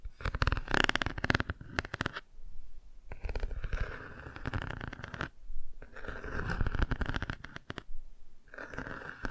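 A cardboard board book is held half-closed at an angle while long nails scratch and tap its textured car page. Dense bursts of dry scratching and quick taps come in clusters, separated by short quiet pauses. The sound carries a steady mid-range band and a strong low rumble under the close, rough texture.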